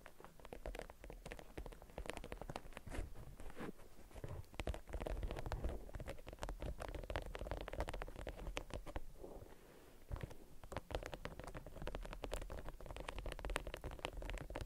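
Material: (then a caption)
Waxed cotton. A waxed cotton beeswax wrap, rolled around an object, is crinkled, scratched and tapped with long acrylic nails. Dense, rapid crackles, scratches and taps run steadily throughout, with a low, muffled body. There is a brief quieter dip partway through.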